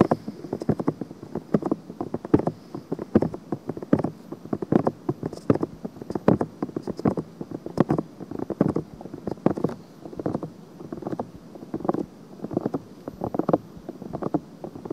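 Long painted fingernails scratch the hollow, pink-white soft silicone ear of a black binaural microphone body. The scratches make dense, soft, muffled rasping strokes in irregular bursts with a low-mid body and very little high end.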